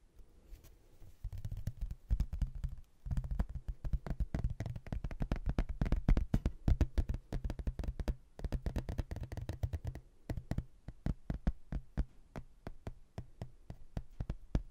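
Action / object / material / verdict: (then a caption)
tap / laminated hardboard placemat / hardboard / none. A rigid, solid thin laminated hardboard placemat, printed with a photo of a ruined house and edged with a blue textured border, is held in both hands and tapped with fingertips and nails. Fast, dense bursts of dull, low-pitched taps with clicky edges come in quick runs, pause briefly, then continue in sparser patters. Each tap dies away almost instantly, with very little ring.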